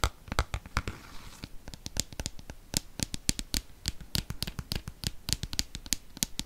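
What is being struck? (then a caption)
Plastic cosmetic squeeze tube. A hand-sized, hollow, dark green plastic cosmetic squeeze tube is scratched along its surface and tapped with fingernails and fingertips close to the microphone. A brief scratchy rasp at the start gives way to a rapid, irregular run of short, dry clicks and taps, each with a bright snap over a soft low thump and almost no ring.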